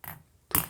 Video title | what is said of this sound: LED반디볼 / 땅에 세우는 야외 경관용 볼조명 / 안뽑히는 구조로 만들기 / 공원조명장식 / 무대조명 / 방울조명 인테리어 [불킴의 조명라이프] | 이렇게 벤치로 툭툭 쳐보면 쉽게 부셔집니다